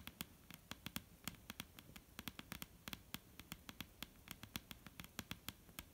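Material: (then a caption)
Wood. Long painted nails of both hands tap and lightly scratch a solid, dark brown wooden table top. About 34 quick, sharp clicks sound in irregular bursts, each bright and dry with almost no ring, over a faint scratchy hiss.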